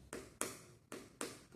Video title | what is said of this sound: AVALIAÇÃO ABDOMINAL | quando eu bato, esse é o som que eu quero ouvir, um som oco